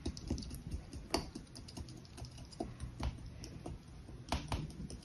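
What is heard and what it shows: A metal knife, held by a hand with long yellow nails, scrapes and cuts repeated lines through a flat, solid mound of yellow-green kinetic sand resting on a pink sheet. The sound is a quiet run of soft, crisp ticks and gritty scrapes, mostly low and muffled, with brief brighter clicks over a faint high hiss.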